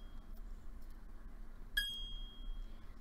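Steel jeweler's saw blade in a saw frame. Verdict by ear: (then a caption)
Tight. A steel jeweler's saw blade, tensioned in a saw frame, is flicked once at about 1.8 seconds. It gives a short, high-pitched ping ringing near 3.3 kHz with bright overtones, fading within about a third of a second over a low background hum. The clear ring is the sound of a properly loaded, correctly tensioned blade.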